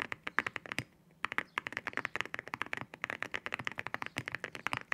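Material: Ceramic.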